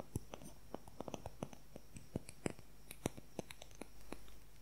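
A fingernail taps and scratches along the shaft of a long, thin wooden colored pencil. More than twenty quick, dry little clicks come at an uneven pace. Each one is sharp and dies away instantly, with a faint, low hum underneath and a brief soft scratchy rise near the end.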